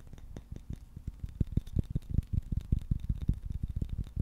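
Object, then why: Wooden-backed shoe brush with bristles. Fingertips tap and scratch on a KIWI shoe brush with a solid wooden back and dark bristles. The result is a quick, irregular run of dull, low thumps with no ring, over a soft, faint scratchy rustle.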